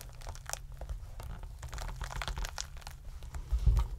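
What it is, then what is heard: Pomegranate rind being torn open. Fingertips and thumbs pry and tear the leathery rind of a scored whole pomegranate full of seeds until it cracks open into halves. Close crinkling, crunching and tearing sounds ride over a steady low rumble, with bright crackles throughout. The loudest crack comes near the end as the fruit splits apart.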